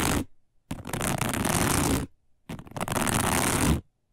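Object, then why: Woven plastic placemat. Long nails scratch quickly along the edges of a round, flat, dark woven plastic placemat. A brief scrape is followed by two longer bursts of dense, rough scratching, each a crackly broadband rasp with a low grainy rumble beneath a bright hiss. Short silences separate the bursts.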